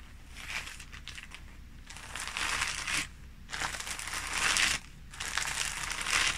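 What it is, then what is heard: Plastic packaging bag crinkled. Fingertips press, rub and scratch a clear thin plastic packaging bag that holds a folded red polyester sports shirt with tags, lying flat on a red bedsheet. The plastic gives off bright, crackly crinkling in several bursts separated by short quieter pauses, with a faint low hum underneath.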